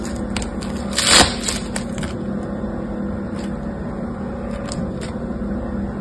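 Yellow-green foam bead slime (floam) is squeezed, then stretched into a thin sheet and pressed back together by fingertips. Soft crackling and popping clicks ride over a steady low hum, with one brighter, louder burst of crackle near the first second.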